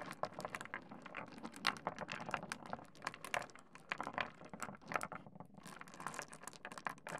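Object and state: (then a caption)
Pile of small pebbles. A heap of small solid pebbles on a wooden desk is spread and pushed around with the fingertips. The stones clack together in a quiet, dense stream of short, bright clicks and rattles with almost no ring.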